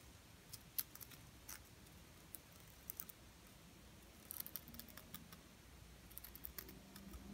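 A small, flat, solid pink glitter-coated plastic "Diva" word ornament is held in the hand and tapped and scratched with long painted nails. About 17 faint, sharp, bright clicks and ticks come in scattered clusters over a quiet low background hum, each dying away almost instantly.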